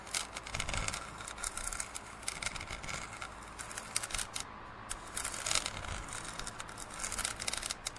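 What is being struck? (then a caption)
Plastic drinking cup. Fingernails scratch along the printed surface of a large, hollow, empty plastic drinking cup lying on its side. The result is a quiet, dense run of bright, crackly rasps in quick irregular bursts, with a faint low rumble underneath.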